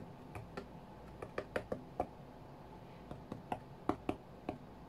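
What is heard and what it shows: Fingertips and short nails of both hands tap rapidly on the glass screen of an iPad tablet lying flat on a cutting mat while a rhythm game is played. Thirteen quiet, dry clicks land in uneven bursts, each a short tick with a faint low-mid tone that dies away almost at once.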